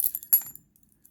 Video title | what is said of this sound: Moneybags Unboxing! | pretty typical metal for coins uh very light um you can hear the tinny sound of it